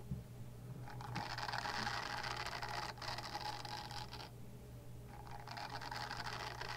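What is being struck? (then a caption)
Silicone face-cleansing pad. Long dark-painted nails scratch a small, pink, oval silicone face-cleansing pad with bristle nubs, solid and flexible, held near a fluffy microphone. Fast, bright, rustling scratches come in bursts, with brief pauses near the third and fifth seconds. A steady low hum runs underneath.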